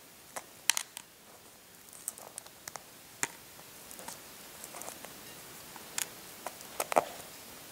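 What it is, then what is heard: Hard-boiled eggshell being picked. Short fingernails scratch and pick small pieces off the brittle shell of a hard-boiled brown egg, exposing the white inner membrane at the end. Sharp, dry clicks and crackles stand out bright against a quiet background, with soft scratching between them and a faint tonal tick near the end.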